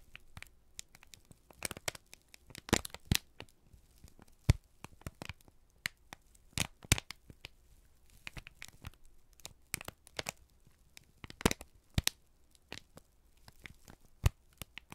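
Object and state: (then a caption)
Kraft paper sheet being crumpled. A wide, folded sheet of thin, flexible, crinkled brown kraft paper is held in both hands in front of two mics and squeezed, crumpled and rubbed with the fingertips, with shredded kraft paper lying still in the background. Dense, irregular crackles and sharp crinkling snaps follow one another, with brief bright transients over a soft low rustle and no lingering ring.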